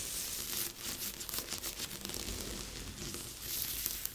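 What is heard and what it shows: Fingertips and nails rub and scratch across the surface of a large assembled cardboard jigsaw puzzle lying flat on a board. The sound is a steady, dry, bright scratching and crinkly rustle, mostly in the high range with little low end, holding a fairly even level throughout.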